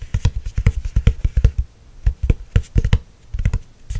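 Long nails tap on the glossy laminated cover of a hardcover spiral notebook, a solid board. The result is quick bursts of short, dull, low clicks and thuds that stop almost instantly, separated by brief pauses.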